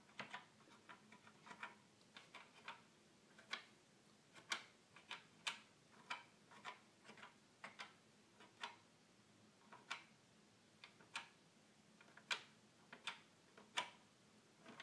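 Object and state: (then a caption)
Plastic toy keyboard button clicks. A fingertip repeatedly clicks the small plastic buttons on the top panel of a hollow red plastic toy keyboard. About 26 short, dry, bright clicks come at an irregular pace, each with a hollow tone near 1 kHz that dies away almost at once. A faint, steady low hum sits underneath.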